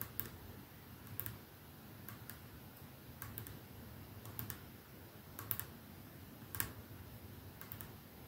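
Fingernails slowly tap the clear glass end of a capsule-shaped perfume bottle with a silver middle band, resting on a dark surface. Short, bright clicks come at an unhurried, uneven pace, often in close pairs, and each dies away almost at once. A steady low hum stays underneath.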